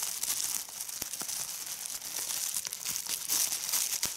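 Clear plastic bubble wrap is gathered and squeezed in a hand with red-painted nails. Dense, bright crinkling of the film runs throughout, broken by sharp pops as the bubbles burst.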